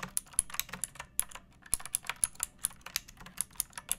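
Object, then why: Plastic mechanical keyboard. A second pink plastic mechanical keyboard with rounded keycaps, a metal top strip and a hollow case is typed on with fingertips and long nails. About two dozen quick, bright clacks fall in an uneven rhythm, each dying away almost instantly, with a faint hollow thump underneath.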